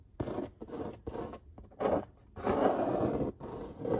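Fingertips scratch and trace across the printed artwork on the lid of a large, flat corrugated cardboard pizza box. It produces a series of dry, papery scraping strokes in short bursts separated by brief pauses, followed by a longer continuous rub. The sound is mostly midrange with a faint hiss on top.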